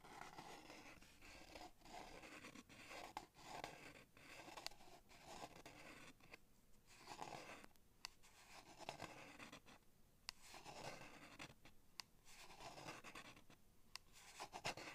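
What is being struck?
Plastic blister pack on cardboard backing.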